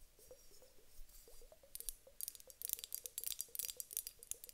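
A large clear glass hourglass filled with water gel beads is tapped with long nails, then tilted and turned so the beads shift inside. Quick, soft, dull taps repeat steadily, joined in the second half by bright, crisp clicking and rattling as the beads move against the glass.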